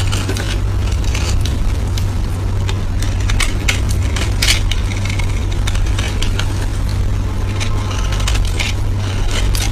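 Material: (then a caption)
Soap. A small dark blade carves and shaves a solid, palm-sized green bar of soap held in the hand, cutting off soap flakes. Repeated bright scraping and crackling strokes run throughout over a steady low hum near 94 Hz, at an even level.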